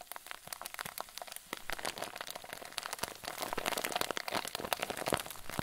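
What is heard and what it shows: A clear plastic zip bag full of white fluffy filling is twisted and squeezed with both hands. It gives a steady, quiet stream of bright, dense crinkles and sharp little crackles that build slightly in loudness partway through.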